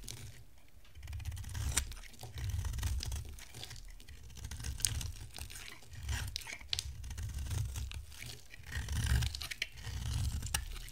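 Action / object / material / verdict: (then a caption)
scrape / bar of soap shaved with a blade / soap / none. A solid white rectangular bar of dry soap, held in the hand, is shaved and carved with a box-cutter blade. Dry, crisp scraping strokes with bright crackling edges rise and fall in waves over a low rumble as flakes are shed.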